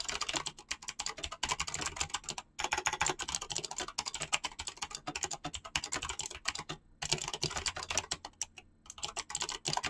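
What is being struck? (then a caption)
Mechanical keyboard with PBT plastic keycaps. Both hands type very fast with their fingertips on a mechanical keyboard with PBT plastic keycaps, making a dense run of short, sharp, bright clicks with almost no ring. Brief pauses break the stream near 2.5 and 7 seconds before the rapid typing resumes.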